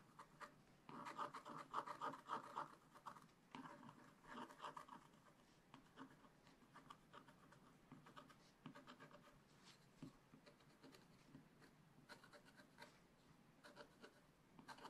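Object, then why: Black-coated scratch-art paper page scraped with a wooden stylus. A wooden stylus scratches through the black coating of a flat scratch-art page in a spiral-bound book. It makes dry, gritty strokes centered around 1.2 kHz, loudest in bursts during the first five seconds, then settling into quieter, steady scratching.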